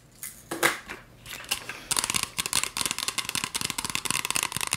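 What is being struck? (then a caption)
Plastic spray bottle. Long acrylic fingernails scratch and tap a hollow green plastic spray bottle with a white trigger nozzle, partly filled with liquid. A few slower, bright scratching swipes give way to a quick, steady run of sharp, crisp taps with a light, hollow plastic click and almost no low end.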